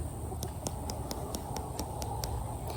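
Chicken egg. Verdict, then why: Thick. A speckled chicken egg with a thick shell is tapped nine times in a steady rhythm, each tap a short, bright click over a constant low background rumble. It is tapped right after a thin-shelled egg for comparison, and this thick, sound shell gives a firm, tight click.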